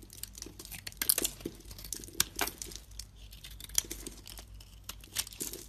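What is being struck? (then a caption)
Bar of soap cut with a blade. A solid white soap bar has its surface scraped and chunks broken off with a blade. The result is a dense run of short, dry, bright crunching and crumbling scrapes with sharp crackly snaps. Each one stops instantly over a faint low hum.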